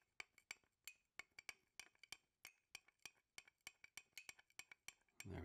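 A metal spoon stirs hot tea in a clear glass mug with a handle, held in one hand, striking the inside wall 26 times in quick, uneven clinks. Each hit is a short, bright, glassy tink centred around 2.3 kHz that dies away almost instantly. The clip ends with a brief burst of broadband rustling noise.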